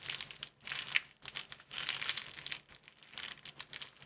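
Fingertips squeeze and crinkle a thin clear plastic film folded into a small square packet. The result is a dense, bright crackling in bursts, with almost no low end and sharp crinkles that die away almost instantly.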